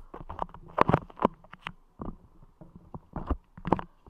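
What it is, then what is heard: Putty clay squeezed and tapped on a microphone. Fingertips squeeze, tap and rub a layer of clear putty clay spread over the grille of a Blue Yeti microphone. The result is an irregular string of soft, sticky squishes and muffled pats with low thumps, centered around 1 kHz with almost no bright edge, each dying away almost instantly.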